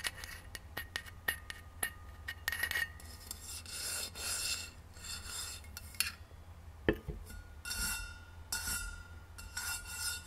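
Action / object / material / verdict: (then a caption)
scrape / stainless steel insulated bottle / stainless steel / none. Long nails scratch near the paper price sticker on the base of a hollow rose-gold stainless steel insulated bottle held tilted, then tap it once it stands upright. Soft rasping scrapes mix with quick, sharp clicks, and each tap leaves a faint, brief metallic ring with bright overtones.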